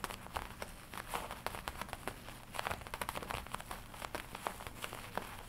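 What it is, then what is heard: Leather jacket. Fingertips and long nails tap and scratch the black leather chest of a worn, studded black and red leather biker jacket. The result is a quiet, steady run of short, dry taps that die away almost at once, mixed with soft crinkling and scratching.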